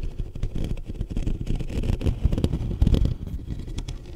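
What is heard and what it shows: Fingertips and short nails of both hands rapidly tap and scratch the top of the hollow metal mesh grille on a black USB condenser microphone. The close contact produces a dense, boomy, low-pitched thumping and rumbling, with quick taps and scratches blurring into one another. Sharper bumps stand out around the middle of the clip.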